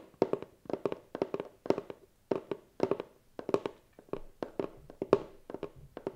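Fingernails tap and scratch across the lid and side of a closed, hollow white cardboard gift box. Quick, dry, hollow taps come in rapid clusters, each dying almost instantly, with a steady low-mid tone around 400 Hz and little deep bass.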